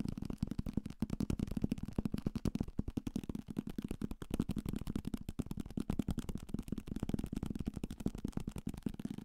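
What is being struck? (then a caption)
Thick paperback book, paper block with card cover. A thick paperback copy of Salem's Lot, a solid paper block with a card cover, is held in the hand and tapped fast with fingertips and nails on the cover and page edges. The result is a rapid, steady stream of short, dull taps with a low, hollow thud around 210 Hz and almost no bright content.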